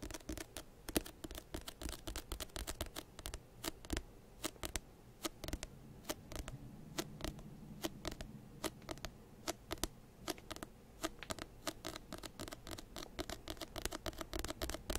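Fingertips tap and scratch the cover and page edges of a solid paper paperback textbook held close to the microphone. Quick, dry clicks with almost no ring land in a rapid, uneven patter over a soft, low scratching rustle, the brightest taps reaching high.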